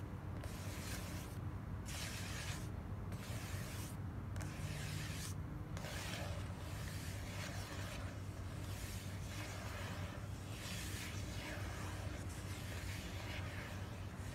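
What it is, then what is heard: Cardboard gift box. Long black nails slowly rub and scratch across the lid of a small, closed, hollow white printed cardboard gift box. Repeated soft, papery scratching strokes with a bright hiss come in a steady rhythm over a constant low hum, staying quiet and even throughout.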